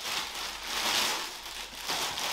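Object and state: Nothing is struck.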